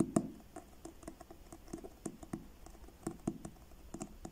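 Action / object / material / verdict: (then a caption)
tap / paperback book with card cover / card / none. Fingertips slowly tap the cover of a solid paperback book with a blue card cover. The result is a quiet, irregular series of soft, dull taps with a low-mid thump and a faint bright click, each dying away almost at once.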